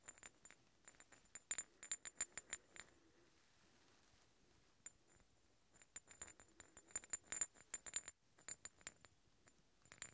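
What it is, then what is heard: Steel hex bolts. Two large solid steel threaded hex bolts are worked against each other, the threads of one scraped and tapped along the other. Quick clusters of bright metallic clicks and clinks carry a thin high ring that dies away almost at once. The clusters are broken by a quiet pause of about two seconds in the middle and a brief one near the end.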